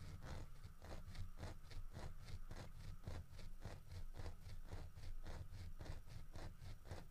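Fingertips of one hand knock and tap the body of a large, solid carved wooden bear holding a wooden fish, while the other hand steadies it. The result is a quick, steady run of soft, dull, low taps with almost no ring after each one.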